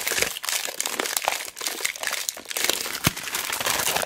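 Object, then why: Roll of tape in clear cellophane wrap. Fingertips and long black nails squeeze and scratch the clear cellophane wrapping on a large roll of mounting tape held in both hands. A dense, bright crinkling and crackling runs throughout, with sharp short snaps and almost no low end.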